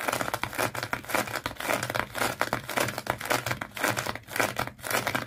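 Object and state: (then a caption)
Sisal rope wrapped fish toy. Long fingernails on both hands scratch the coils of colored, twisted sisal or jute rope wrapped around a small fish toy. The result is a dense, bright, crackly scratching with rapid strokes that swell and fade in uneven bursts, dry with almost no ring.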